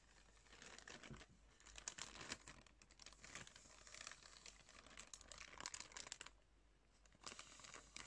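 Fingers scrunch and crinkle a soft, clear plastic package of cotton pads with a drawstring top. The thin plastic gives a steady run of close, bright crackling and rustling that swells and eases, with a brief quieter stretch near the end.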